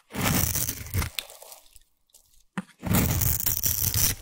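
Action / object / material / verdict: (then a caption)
scrape / bar of soap / soap / none. A solid orange bar of soap, held in one hand with long white nails, is scraped with a small black abrasive blade or grater tool, shaving crumbly curls onto a pile of soap shavings. Two long bursts of dense, gritty scraping and crunching are heard, separated by a quiet gap with a brief sharp click. The scraping carries a heavy low rasp under a bright, hissy top.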